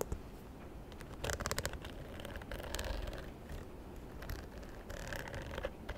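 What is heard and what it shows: Long nails scratch and tap the surface of a small, hollow, white croc-embossed faux leather bag held close to the side of the mic. Quiet, low rustling runs throughout, broken by quick bursts of crisp, bright scratching and dry clicking taps that die away almost instantly.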